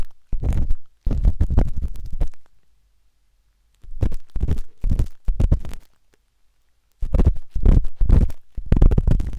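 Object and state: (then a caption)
Silicone ear of a binaural microphone being scratched. The metal tip of a wooden-handled dot stick scratches inside the ear canal of a pale pink, soft and solid silicone ear on a binaural microphone. Bursts of rapid, muffled scratching and rubbing come in several clusters separated by short silences. The sound is deep and rumbling, with almost all of its energy in the low range and no bright highs.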